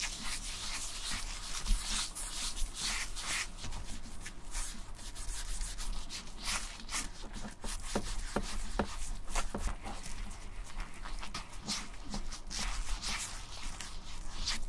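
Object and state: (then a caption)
Leather wallet being rubbed and scratched. A closed, thin tan-brown leather bifold wallet with stitched edges is rubbed and scratched across its front surface by black-gloved fingertips. The result is a steady dry scratching and rubbing texture with bright, crisp strokes over a low rumble, broken by brief sharper scrapes.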